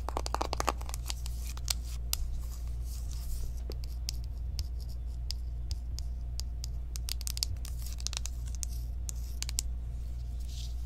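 Long nails rapidly tap and scratch on the front and edges of a small, hollow pink cardboard Kylie eyeshadow palette box. The clip is made of sharp, dry clicks and brief scratchy strokes over a steady low hum.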